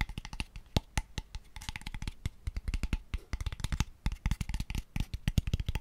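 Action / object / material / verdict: tap / small wooden box / wood / none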